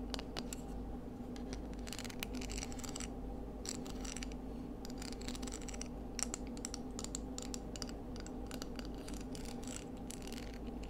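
Long nails scratch and tap along the ribbed exterior of a palm-sized, hollow, empty scallop shell with orange-tinged ribs, held in both hands. A steady stream of crisp, bright scratches and light clicking taps plays out at an even, quiet level over a constant low hum.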